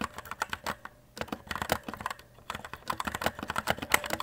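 Steady fingertip typing on a compact white E-Element Z-88 RGB mechanical keyboard with plastic keycaps gives a run of short, sharp clicks that die out almost at once. Bursts of keystrokes are broken by brief pauses near one and two and a half seconds.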